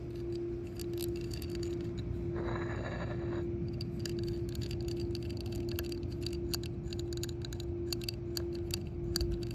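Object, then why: Hard-plastic shuffleboard disc. Long nails tap and scratch the raised embossed letters and center boss in the recessed face of a solid yellow hard-plastic shuffleboard disc. Quick, light clicky taps and short bright scratches ride over a steady low hum and a constant tone near 350 Hz. A denser scraping stretch occurs briefly around the third second.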